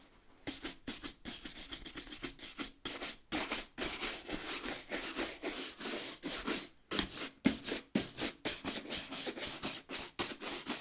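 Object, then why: Leather work boot with rubber sole. A light-colored bristle brush with a wooden back scrubs the sole edge and leather upper of a brown leather work boot with a rubber lug sole, held in hand. A rapid, somewhat uneven series of bright, hissy brushing strokes, about two per second, each ending in a quick cut-off with almost no low end.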